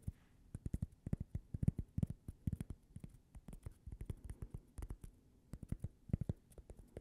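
A small, thin, solid cork coaster shaped like a slice of toast is held up in one hand and tapped with long painted nails. Around forty quick, soft taps come in irregular bursts, each a dull, low knock with almost no ring and a faint bright click at the attack.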